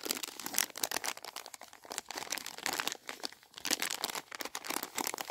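A filled Swizzels Double Dip sweet packet, a flat plastic-film sachet, is held in both hands while fingertips with painted nails crinkle and rub the wrapper. Dense, bright, crisp crackles and rustles come in quick uneven bursts with almost no low end. Each crackle cuts off instantly.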